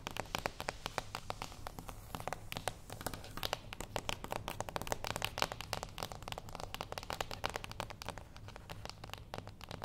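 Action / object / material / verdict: tap / small closed cardboard box / cardboard / none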